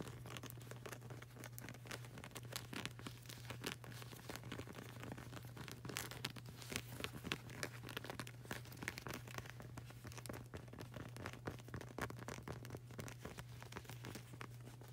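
Fingernails tap quickly and continuously on the solid, textured grey rubber sole of a flip-flop sandal, making dense, crisp, dry ticks with bright crackling edges that sound like rustling. A steady low hum runs underneath the whole time at a quiet, even level.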